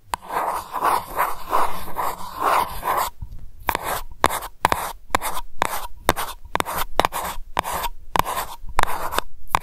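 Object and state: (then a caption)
Metal candle jar lid. Long nails scratch across the flat top of a round silver metal lid on a glass lavender candle jar, making a steady, rhythmic rasping for the first three seconds. The nails then switch to quick, sharp taps on the lid, each a dry metallic click with almost no ring, separated by short silences.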